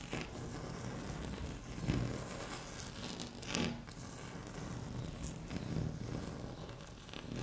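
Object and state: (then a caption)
Laminate tabletop scratched with fingernails. Long fingernail tips scratch across a flat, solid, speckled beige laminate tabletop. A steady, dry rasping scrape runs throughout, zipper-like and weighted toward the low end, swelling into a few louder strokes along the way.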